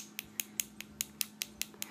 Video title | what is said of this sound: How I prep and fill my nails | you want to hear this really high-pitched tapping